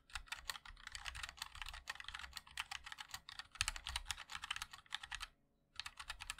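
Fingertips of both hands type continuously on a compact 60% MOD-L mechanical keyboard with a black case, white and black plastic keycaps, and linear switches. The result is a rapid stream of short, bright plastic clacks with a light low thump beneath. The typing pauses briefly near the end, then resumes.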